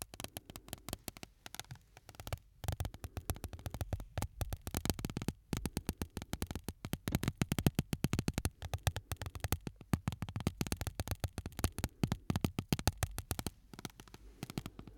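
A palm-sized, flat, solid shard of broken window glass, held between both hands, is rubbed and scratched with the fingertips close to the microphones. The result is a steady stream of quiet, rapid, dry clicks and scratches with a soft low-heavy body and short bright edges, with brief pauses throughout.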